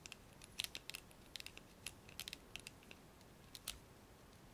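Fingernails tap the handle of a blue plastic hairbrush and pluck its black plastic bristles. The result is a quiet, irregular series of short, bright clicks and ticks, each ending at once with no ring.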